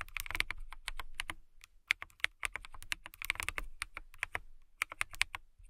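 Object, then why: Acrylic mechanical keyboard. Long nails and fingertips type on a blue-lit transparent acrylic mechanical keyboard with clear plastic keycaps. Quick, irregular bursts of sharp, bright clicks and clacks stop dead with no ring, and there are a few short pauses between runs of keystrokes.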